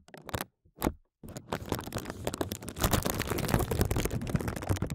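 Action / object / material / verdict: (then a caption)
scrape / thin plastic bag over a microphone / plastic / none. Fingertips tap and rub a thin clear plastic bag covering a microphone, around the microphone head. A few short crinkly bursts with brief silences lead into a dense, continuous stream of fast, crackling taps and scraping rustles that grows slightly louder toward the end.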